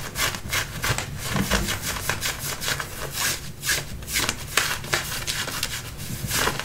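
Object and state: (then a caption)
Denim jeans being scratched. Fingernails scratch and rub the front and back pockets of light-blue button-fly denim jeans being worn. Repeated bright, rasping strokes sweep across the fabric over a soft low rumble, keeping a steady, dense scratching texture throughout.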